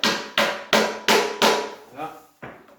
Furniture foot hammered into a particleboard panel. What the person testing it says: comment ça sonne pas creux ça sonne vraiment comme si on était arrivé au maximum